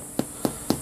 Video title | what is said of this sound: COVID SURVIVAL BREAD OLD WAYS FOR LONG TERM SURVIVAL WITHOUT TECHNOLOGY | if it kind of sounds hollow, that means it's probably going to be pretty good